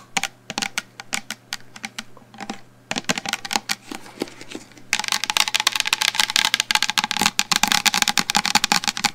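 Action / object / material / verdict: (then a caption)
tap / plastic shampoo bottle / plastic / none. A medium black plastic shampoo bottle, held upright near the microphone, is tapped rapidly on its sides with long blue nails. The taps are sharp, bright and dry with almost no ring, starting in sparse bursts and becoming a dense, louder flurry over the last four seconds. A faint steady low hum runs underneath.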